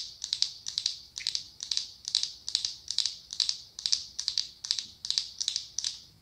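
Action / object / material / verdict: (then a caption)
tap / glass candle jar with glass lid / glass / none. Long acrylic nails tap rapidly on the clear glass lid of a medium pumpkin-shaped glass jar filled with orange candle wax. The taps come in a steady series of short bursts, each holding two or three quick, bright clicks with almost no ring and no low end.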